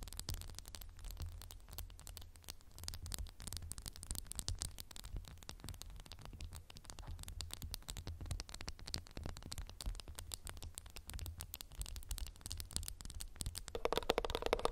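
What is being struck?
Glass candle jar with textured surface.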